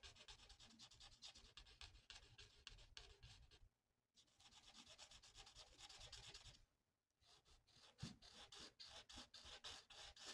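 A hand-held felt-tip marker rubs back and forth across a thin, flat paper mandala coloring sheet lying on a table. The result is a quick run of soft, bright, scratchy strokes with a papery hiss, interrupted by two brief quiet pauses before the rubbing resumes.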